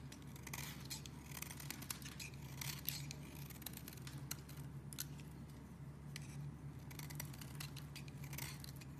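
A metal craft knife blade scrapes and shaves a solid, palm-sized purple bar of soap held in one hand, curling off thin shavings. Quick, crisp scratches flick through the high range in dense bursts over a steady low hum. The scraping stays quiet and continuous from start to finish.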